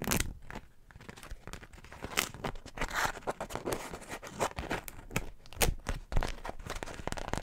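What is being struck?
Wax-coated cotton wrap.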